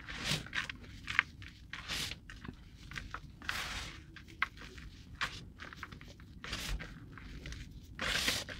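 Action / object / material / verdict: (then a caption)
scrape / loose cornstarch powder in a plastic bowl / cornstarch / none. Bare fingertips press, squeeze and scoop a mound of loose white cornstarch powder and crumbled cornstarch in a yellow plastic bowl, crumbling the packed powder. This produces soft, dry, bright crunching and squeaky bursts with short, sharp crackles in between, each stopping almost instantly.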